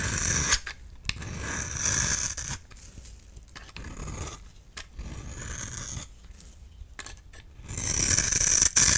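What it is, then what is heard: Bar soap scraped with a blade. A utility knife blade scrapes across the textured face of a solid oval magenta bar soap held in hand, shaving it into powdery flakes. The sound is a dry, crisp, bright scraping with short rasping strokes, louder at the start and end.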